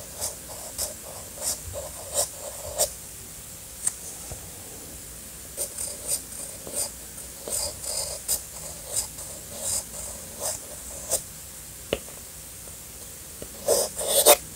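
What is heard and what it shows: A sharpened black wooden pencil writes in cursive on a flat sheet of cream paper resting on a hard surface, its graphite tip scratching across the paper. Short, bright, dry scratching strokes come in quick bursts separated by quiet pauses, with a sharp tick near the end and a louder cluster of strokes at the close. The pencil writes well.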